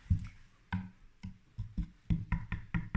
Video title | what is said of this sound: CZ 457 Royal 22lr Rifle - BRAND NEW 2019 | it sounds like metal, it doesn't sound like plastic